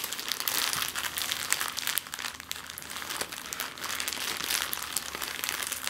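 A clear plastic zip-lock bag lying flat on a wooden table is pressed, flexed and scratched with long nails. It gives a steady run of dense, bright crinkling with quick sharp crackles and almost no low end.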